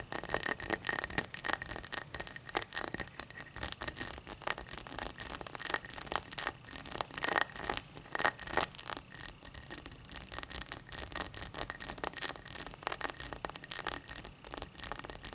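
Long matte black nails scratch and rub the faceted side of a tall, empty cut-crystal highball glass held on a towel. The result is a dense, continuous run of bright, crisp scratching and ticking, with a faint glassy ring around 1.8 kHz and almost no low end.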